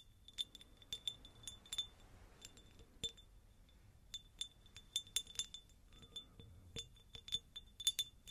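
A textured, pineapple-shaped glass jar is tapped with the fingers, giving a quick, irregular run of bright glassy clinks. Each tap rings briefly around 3.5 kHz and dies away almost at once over a quiet background.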